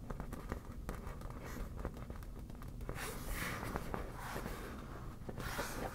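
Long black natural nails tap and scratch the taut surface of a hollow, air-filled yellow smiley-face inflatable PVC vinyl beach ball held on a table. Quiet, dull taps mix with a low rubbery rumble, and from about halfway through, scratching adds a brighter, breathy rasp over the steady soft tapping.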